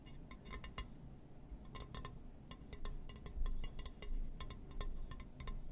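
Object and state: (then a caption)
Glass surface. Fingers tap and scratch on a glass surface, producing quick, irregular clinks with bright, glassy ticks that ring only briefly. A steady low rumble sits underneath throughout.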